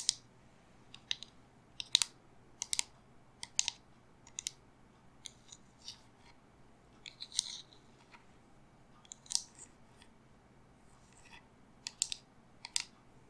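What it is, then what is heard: Resin raven candle holder. Long fingernails tap and scratch a medium-sized, silver-painted resin raven figure on a black pedestal candle holder. About two dozen quiet, sharp clicks and brief scratchy bursts are heard, all bright and high-pitched with almost no low end. Each one stops dead with no ring.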